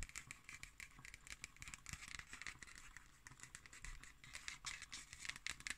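Long nails tap and scratch on the cover and paper label of a black cardboard hardcover notebook. Quick, dry, bright ticks and scrapes patter at a low level, with a faint low rumble beneath.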